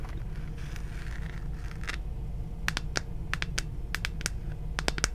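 A hollow plastic moon lamp about the size of a head, glowing red-pink, is held in one hand and scratched and tapped with long painted fingernails. Soft scratching comes first, then a run of sharp, bright clicking taps that die away almost instantly, all over a steady low hum.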